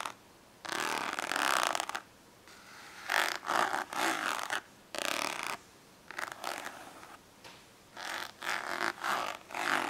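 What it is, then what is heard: Plastic index card case scratched. A hollow orange ribbed plastic index card case lies flat while long acrylic nails scratch and tap across it. Bursts of raspy, bright scratching alternate with brief quiet gaps, and quick clicky taps ring out over the plastic.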